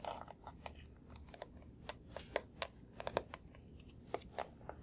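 A small hollow blue plastic box is held in one hand and tapped with the fingertips of the other. Quiet, irregular, crisp taps and clicks with a hollow mid tone and very short decay sound over a soft, steady background hiss. A few louder, brighter taps stand out among the lighter ones.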